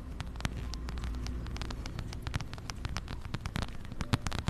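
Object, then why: Plaid fabric and faux-leather wallet. A plaid fabric and brown faux-leather wallet is held in both hands close to a microphone while long nails scratch and tap its fabric, leather trim and zipper edge. Dense, quick, crisp taps and scratchy rustles come over a steady low hum, with a few sharper clicks standing out.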